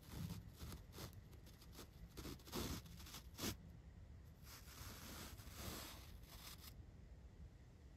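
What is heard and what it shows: A large paintbrush sweeps across the black foam windscreen of a microphone up close. The result is a series of soft, rustling, scratchy brush strokes with a heavy low rumble and bright airy hiss, the loudest swipes landing in the first few seconds before the strokes settle into a steadier, gentler brushing.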